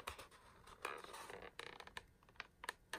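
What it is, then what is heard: Plastic blister pack on cardboard. Fingertips tap and scratch a small Harry Potter figure package held in both hands: a clear plastic blister holding a small figure on a printed cardboard backing card. Quiet, crisp clicks and brief crinkly scratches come in an irregular run of sharp taps that die away almost instantly, with a bright, thin tone and almost no low end.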